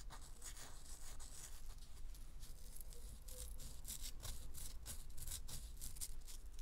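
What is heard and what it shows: Long acrylic nails scratch and tap the dry, powdery surface of a round, solid, gold-dusted pressed powder bath bomb about the size of a fist, held in both hands over a paper towel. Quiet, steady scratching is broken by bright, crisp tapping bursts over a low, constant rumble.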